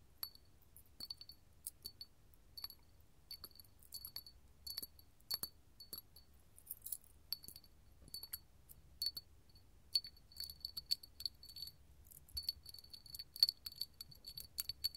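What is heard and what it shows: A small, hollow, empty clear hobnail glass candle holder resting on a palm is tapped with long gold metal filigree finger claws. Quiet, irregular bursts of bright, high glassy clinks are heard, each dying away almost at once with no lasting ring.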